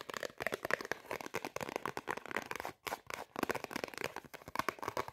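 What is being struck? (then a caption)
Thin cardboard tag. A small, thin, flat white printed Zara cardboard price tag is held in both hands and scratched and tapped with long painted nails. Quick, dry crinkling scratches and light taps come in dense bursts, with a brief pause near the three-second mark.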